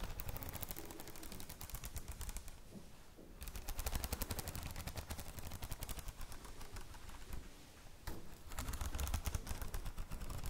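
Long nails quickly tap and scratch the glossy plastic cover of a red A4 spiral notebook, making a dense run of sharp, dry clicks over a soft, low rumble. The clicks come in fast, uneven bursts with scratchy swipes between them. They ease off briefly around the third and eighth seconds before picking up again.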